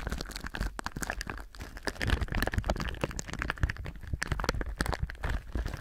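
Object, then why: Thin plastic film wrap. Thin clear plastic film wrapped on a binaural microphone is rubbed and crinkled by the fingertips of both hands. It makes a dense, continuous stream of short crunching crackles with a heavy low rumble underneath and bright crinkle edges on top.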